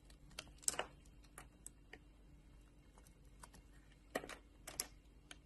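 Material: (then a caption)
Soap. A solid blue oval bar of soap, held in a palm by a hand with long painted nails, has thin layers shaved off with a metal utility knife blade. Quiet, sharp, bright scraping clicks come in scattered bursts, each dying away at once, over a soft low background hum.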